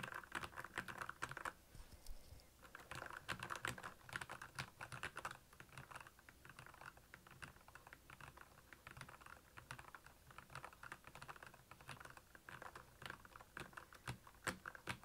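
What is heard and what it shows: Fingertips of both hands type on a full-size black plastic Royal Kludge mechanical keyboard with backlit keys, Cherry MX Red switches and a hollow case. Rapid, crisp clacks with a hollow midrange tone come in quick bursts. There is a brief lull near the two-second mark before the steady typing resumes.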